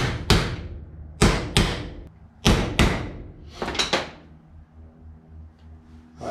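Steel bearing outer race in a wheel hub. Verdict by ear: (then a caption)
Seated. A new steel outer bearing race is tapped into a front hub through an old cut race with a copper or dead blow hammer, giving seven sharp, thudding metallic knocks. The race ends fully seated at the bottom of the hub, which is the normal result.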